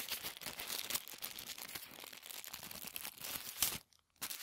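A thin sheet of white tissue paper, folded and then bunched up on the table, is crumpled by hands. Dense, bright crinkling and crackling run almost continuously, with almost no low end. A brief silence falls near the end before the rustling resumes.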